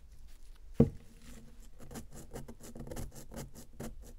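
Long nails scratch and tap a solid, round pressed-powder bath bomb held on a paper towel, loosening its powder. One sharp, louder tap comes early, followed by a steady run of quiet, dry, gritty scratches and light taps with a low-weighted, muffled tone and almost no ring.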